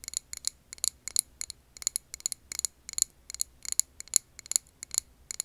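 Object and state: Glass candle jar.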